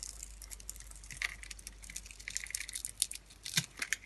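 A utility knife blade scrapes and cuts into the scored surface of a solid, palm-sized, pink-and-white striped dry soap bar held in the hand, crunching off small cubes. The sound is a quiet, bright, dry crackle of many quick, crisp crunches and scrapes with almost no low end, and each snap dies away instantly.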